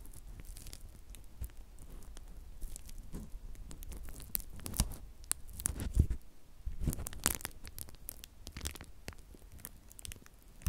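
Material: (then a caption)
Plastic. A flat sheet of clear plastic bubble wrap is held in both hands while its bubbles are pinched and popped with the fingertips. Short, sharp pops and bright snaps cut through steady, soft plastic crinkling over a low rumble, with the loudest pops around the middle of the clip.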